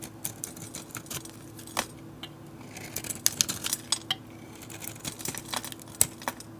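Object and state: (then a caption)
Bar soap being carved. A utility blade scrapes the painted galaxy coating off a solid oval bar soap and carves into the cream soap beneath. The result is a quick series of short, crisp, bright scratches and clicks that die away almost instantly, over a faint steady low hum.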